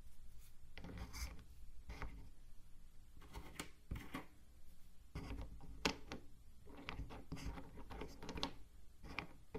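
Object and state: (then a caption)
Wooden cube puzzle being handled. Fingertips press and rub across the many small dark wooden blocks packed into a light, unfinished wooden corner frame of a small, hand-sized Chinese 3D wooden cube puzzle, while the other hand holds the frame. Soft, low rubbing and dry scratching come in short bursts, with brief bright clicks as the wooden pieces shift against each other.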